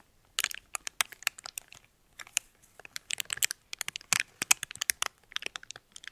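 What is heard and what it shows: A small red metallic foil wrapper is folded and crinkled between fingertips and nails. About 29 quick, sharp crackles and crunches come in irregular bursts with short pauses. The sound is bright and thin, with almost no low end, and each crackle stops instantly.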